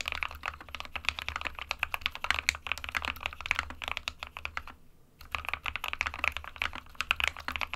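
Fingertips of both hands type continuously on a small 60% SK61 mechanical keyboard with a white plastic case and plastic keycaps, resting on a desk mat. It makes a rapid stream of sharp, bright plastic clacks, with a brief pause near the five-second mark, over a faint low steady hum. The clicks are short and dry with almost no ring.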